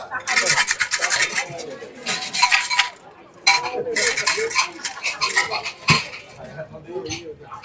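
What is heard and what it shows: An omikuji fortune box holding wooden sticks is shaken at Senso-ji temple so a numbered stick falls out; its number, 26, matches a drawer holding the fortune paper. The sticks rattle inside the box in bright, clattering bursts, followed by a sharp knock and softer, scattered rattling as the shaking winds down.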